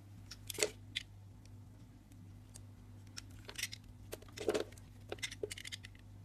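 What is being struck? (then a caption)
Soap bar scraped with a craft knife. A craft knife with a yellow handle scrapes and carves the surface of a hand-held pink-purple solid soap bar with a raised circle pattern, and soap shavings collect below. Short, crisp, bright scraping and cutting strokes come at irregular intervals over a steady low hum.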